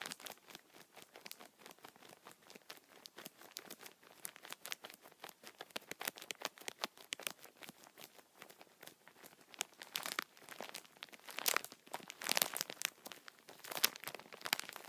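Fingertips scratch and tap the plastic film wrapped over a multipack of tissue packets, crinkling it. The result is a dense run of quick, dry crackles and taps that is bright and hissy with no low end. It grows louder with sharper crinkle bursts in the last few seconds.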